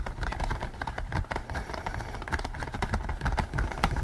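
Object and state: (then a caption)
Latex pig mask being scratched and tapped. Fingers rub the ears of a pink latex pig mask worn on the head, then scratch and tap across its top. The result is a dense run of soft, muffled rubbing and scratching with quick, dull taps, mostly low in tone and lacking any bright ring.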